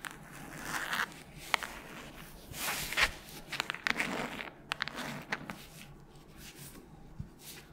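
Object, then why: Hardcover book, board cover and paper pages. Long nails scratch along the cover and page block of a solid red hardcover book. The result is soft, bright scraping rasps broken by sharp little clicks and ticks, all quiet and close with almost no low end.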